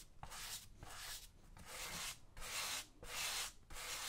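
A small brush held in the fingers scrubs the tan suede upper of a right tactical boot worn on a foot, with the left boot sitting untouched beside it. Dry, bright bristle strokes rasp back and forth in a steady rhythm of about five passes.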